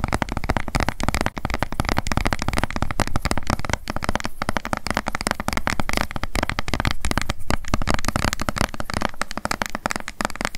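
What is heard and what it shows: Long acrylic nails rapidly tap and scratch the sides of a hollow, upright light blue plastic sunscreen bottle held in both hands. The result is a dense, continuous stream of quick, dry clicks and scratchy rustles with a hollow, low-heavy body and almost no ring after each tap.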